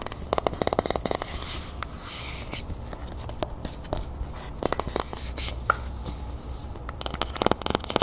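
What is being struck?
Metal aerosol spray can.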